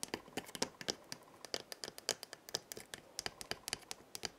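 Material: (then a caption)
Gourd. A hollow dried gourd maraca with filling inside is held by its wooden handle and shaken, then moved partly out of frame. It gives a quick, uneven series of short, crisp, bright rattling clicks with almost no low end. Each one dies away instantly at a quiet level.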